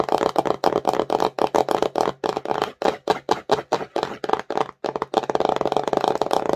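A small, empty, glossy printed cardboard slime box is held in the hands and tapped and scratched fast and aggressively with long nails and fingertips. Quick bursts of dry, papery clicks and scrapes come in a rapid rhythm with short gaps, then merge into a denser, continuous scratching flurry toward the end. The sound is crisp and midrange with little low end and almost no ring.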